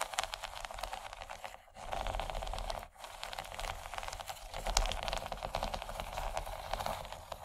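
Long nails scratch the corn-cob texture of a large, empty yellow textured plastic tray. The result is a dense, continuous, bright scratching with a steady low rumble underneath. It pauses briefly twice before picking up and growing slightly louder toward the end.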